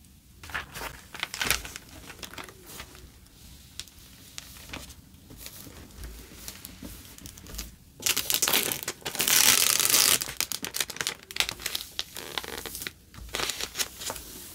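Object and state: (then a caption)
Plastic film over a photo album page. Long painted nails and fingertips press and rub across the clear plastic overlay film of a self-adhesive photo album page, smoothing it down over photos and paper butterflies while the album lies open and the page flat. The film gives bright, crackly crinkling in quick, uneven bursts, with a louder, sustained crinkle partway through before the rubbing settles back into lighter crackles.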